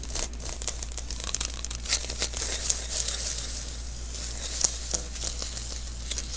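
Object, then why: Adhesive paper lint roller refill. A small, hollow sticky lint roller refill (an adhesive paper roll) is held in the hands while fingers and palm pat its surface. Each pat lifts off with a bright, crackling peel, and the peels come in a rapid, irregular stream. A steady low hum runs underneath.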